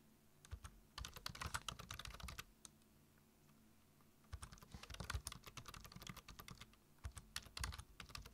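Fingertips type on a black plastic computer keyboard, tapping the keys in quick bursts of short, bright clicks with a soft low thump under each. The typing comes in three runs separated by quiet pauses.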